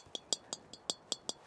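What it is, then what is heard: Tinny-sounding metal golf driver face. Seven light taps on the metal face of an XL-head golf driver, set at 10.5 degrees loft, each giving a short, bright, tinny clink with almost no ring. The high-pitched sound comes from the face material, unlike carbon-faced drivers, and explains why this driver is so loud at impact.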